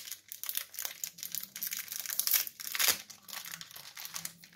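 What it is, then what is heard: Plastic-wrapped chocolate bar being unwrapped. A small, solid Jet's chocolate bar in a crinkly metallized plastic film wrapper is held in both hands while fingertips crinkle and tear the wrapper open. Dense, irregular bright crackles and crinkles rise and fall throughout, with the loudest tearing bursts near the middle. The crackles are sharp and short, with almost no low end.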